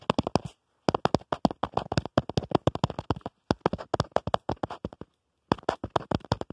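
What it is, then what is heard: Plastic phone case. Fingernails tap and scratch the back of a black plastic phone case on a smartphone, around the camera bump. About 44 quick, dry clicks come in fast bursts, with brief pauses near the start and end. Each click is sharp and dies away almost at once.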